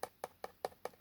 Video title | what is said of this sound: How to make the filler or inside of a Baby Paper Mache Ladybugs | You hear the sound. It's solid.